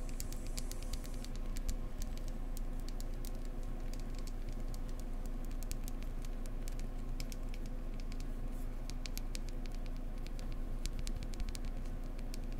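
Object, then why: Beehive-shaped beeswax candle. A beehive-shaped beeswax candle is tapped gently up close with fingertips, including some scratchy tapping. The taps come as a quick, uneven patter of soft clicks and light scratches over a steady low hum.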